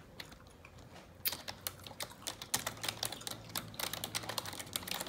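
Long neon-yellow nails type continuously on a black plastic computer keyboard, producing quick, bright clicky taps with very short decay. After a quiet first second, the tapping speeds up into a dense stream of sharp high clicks over a faint low hum.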